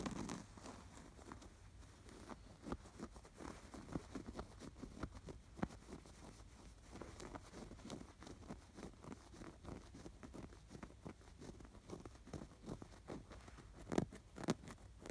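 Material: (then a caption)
Canvas fabric. Fingertips and nails scratch along the edge and stitches of a fabric sweater appliqué on a stuffed canvas pillow with fine embroidery and fuzzy pom-poms. The result is a quiet, steady stream of soft, dry scratching and rustling, broken by short, slightly louder scrapes near the end.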